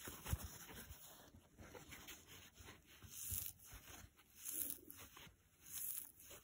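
A dry blue foam kitchen sponge with a green nylon scour side is bent, squeezed and scratched with fingers and short nails. The result is quiet, close, crispy scratching and crackling that swells in several louder bursts.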